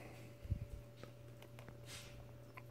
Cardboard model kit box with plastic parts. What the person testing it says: it sounds full in there